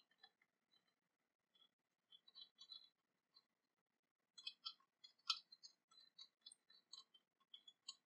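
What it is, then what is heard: Cast-metal dagger sheath. Long painted nails tap and scratch along the sculpted surface of an ornate silver-coloured cast-metal dragon dagger, sheathed and lying on cloth. Quiet, bright, dry clicks and ticks come in scattered bursts with brief pauses, growing denser and louder in the second half. Each tap dies away almost instantly with no ringing.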